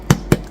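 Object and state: Baked ginger bulla, hollow (done).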